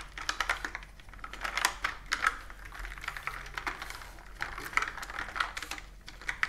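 Fingertips and long nails type on a plastic computer keyboard with round plastic keys resting on a table. Quick, uneven bursts of light clicking and tapping come through, each keystroke short and bright with almost no ring. A faint, steady low hum sits underneath.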